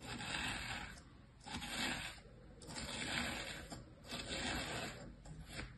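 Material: Sand.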